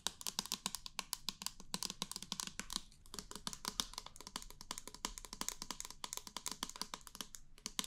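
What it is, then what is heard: Plastic pump bottle, tapped. Fingernails tap and scratch rapidly on the body of a small, hollow, clear plastic foam pump bottle with a pink top, held in the hand and apparently empty. The result is a steady stream of quick, bright, dry clicks with a faint scratchy texture and almost no ring between hits.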